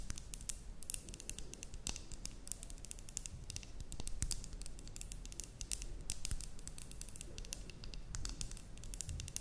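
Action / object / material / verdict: tap / glass terrarium jar with cork lid / glass / none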